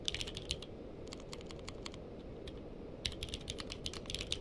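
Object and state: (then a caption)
Mechanical keyboard with plastic keycaps. Two-handed fingertip typing on a purple-cased mechanical keyboard with plastic keycaps produces quick, bright clicky keystrokes peaking around 3.5 kHz, each dying away almost instantly. Dense bursts at the start and over the last second and a half frame a softer stretch of lighter taps in the middle, all over a steady low background hum.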